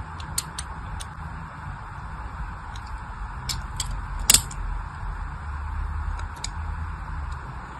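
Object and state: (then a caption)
Soap bar being scored with a blade. A small blade scores lines across a solid pink-and-white striped glycerin soap bar held in the hand, making short, crisp, bright scratching clicks spread through the clip. The loudest scrape lands just past the middle. A steady low hum runs underneath throughout.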